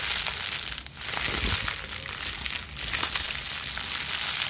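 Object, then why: Plastic bubble wrap sheet. A small wad of clear plastic bubble wrap is cupped in both hands with long nails and squeezed and scrunched. It makes a steady, dense, bright crinkling and crackling with brief dips in loudness.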